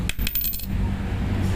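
A genuine N52 neodymium magnet is dropped in the same spot where a fake one was tested, giving about four quick, bright, coin-like clinks over a steady low hum. Its ringing tone is clearly different from the fake magnet's sound.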